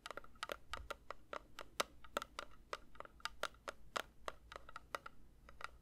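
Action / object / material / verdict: tap / metal candle tin / metal / none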